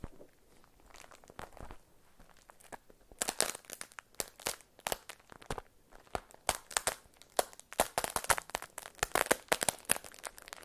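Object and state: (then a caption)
Beeswax-coated cotton food wrap. A beeswax-coated cotton food wrap is peeled open and crinkled by hands with long nails. Dense, dry crinkles and crunchy crackles run throughout: quieter and sparse for the first three seconds, then louder and brighter bursts that pack closely toward the end.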